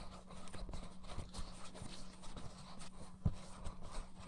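Fingers tap the shell of a blue, hollow plastic PS4-style gamepad pressed against a dummy head's right ear. The result is a quiet run of soft, dull, low thumps that die away almost instantly, with one sharper knock near the end and a faint steady low hum underneath.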